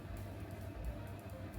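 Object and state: Nothing is struck.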